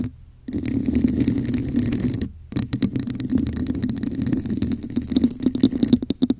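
Long nails scratch the sides and tap the top of a hollow red textured plastic cup turned upside down over a microphone. A muffled, hollow scraping runs for about two seconds, pauses briefly, then returns mixed with a quick series of dull taps that grow sharper toward the end.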